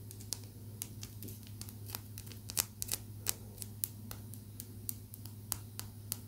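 Long nails tap a small, rough, solid chunk of raw blue calcite stone, producing many quick, dry, bright clicks scattered irregularly over a steady low hum. Each tap dies away almost instantly, with no ringing.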